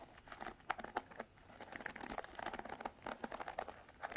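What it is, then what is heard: Plastic paddle hairbrush. Long black artificial nails scratch and strum across the black plastic bristles of a handheld Revlon paddle hairbrush with a white and silver plastic body. The result is a quiet, rapid series of dry, crackly plastic clicks and ticks that sit in the mid range with almost no bass. Each click dies away almost instantly.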